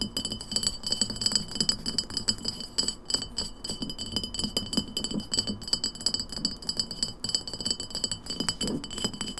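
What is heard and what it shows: Long nails tap rapidly on the glass sides and paper label of an empty glass lemonade bottle standing upright on a wooden table. The result is a fast, irregular stream of bright, high clinks and light rattling ticks, each dying away almost instantly.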